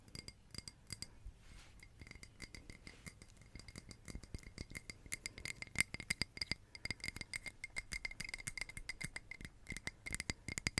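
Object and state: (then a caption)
Glass candle holder. Long red acrylic nails tap and scratch a small, hollow, empty-looking red glass votive candle holder with a textured, glittered surface. Dozens of quick, quiet, bright clicks and scrapes come in rapid bursts, each with a faint glassy ring near 2.1 kHz and a high shimmer that dies away almost instantly.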